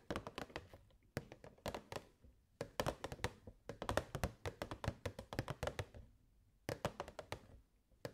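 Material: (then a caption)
Plastic. Long nails tap rapidly on the walls of a hollow, clear plastic box with purple fairy lights inside. Quick bursts of short, dry, hollow taps with bright clicky edges are separated by brief pauses, and each tap dies away almost instantly.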